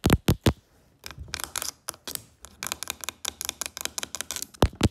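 Long acrylic fake nails tap and click on the carved surface of a medium wooden box or chest lid with a brass elephant inlay; the lid looks solid. Three loud, bright clicks open the clip, followed by a quieter stretch of fast, uneven tapping with a low, dull thud underneath. It ends with two more strong taps.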